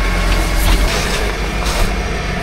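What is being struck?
Nothing is struck.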